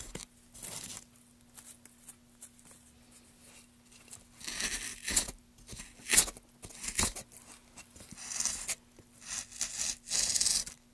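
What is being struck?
Wooden plank.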